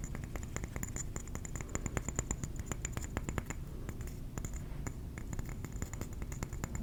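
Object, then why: Ceramic trinket plate. A ceramic trinket plate is tapped with the fingernails in a rapid, steady run of short, dry clicks. Each tap is bright and sharp, dies away almost at once, and sits over a constant low background rumble.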